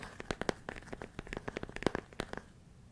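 A large clear plastic storage container with a lid, full of rice, is held near the ear and tapped and scratched on its walls with fingertips and nails. A rapid, uneven string of short, dry clicks and crinkly scratches follows, with the small grains rustling faintly between the taps. The sound fades toward the end.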